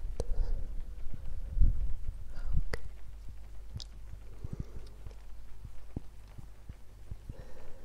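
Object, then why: Cork coaster. A round, flat, solid cork coaster, about palm-sized, is held in a hand next to a binaural microphone and tapped and scratched with long painted fingernails. Soft, dull, short taps and brief scratching sounds play over a steady low rumble, with rain in the background.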